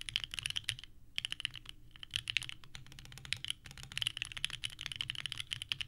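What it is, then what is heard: Mechanical keyboard with ABS keycaps. Two hands type continuously with the fingertips on a small 65% mechanical keyboard with a purple case and white ABS keycaps, resting on a desk mat. Rapid, bright, clacky key presses come in quick bursts with short pauses, each click sharp and dry with almost no ring.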